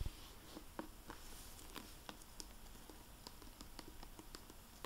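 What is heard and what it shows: Long painted nails and fingertips tap and handle the glossy plastic-covered dust jacket of a closed hardback library book, "Cape Perdido," lying on a wooden table, before a dry microfiber cloth wipes the cover. Quiet, dry clicking taps with bright ticks that die almost instantly rise over a low, soft rustle.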